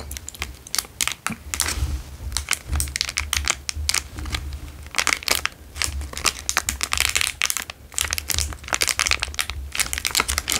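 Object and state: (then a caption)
Clear plastic wrapper. A square clear plastic wrapper is pressed on a table, then picked up and crinkled with fingers. The result is dense, bright crackling and crinkling in quick, irregular bursts, with a steady low hum underneath.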